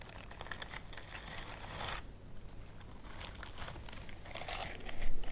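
Long nails scratch and rub across the bristles of a pale pink silicone dish scrubbing glove worn on one hand. Soft, dry crinkling scrapes come in bursts, swelling around the two-second mark and again near the end over a steady low hum.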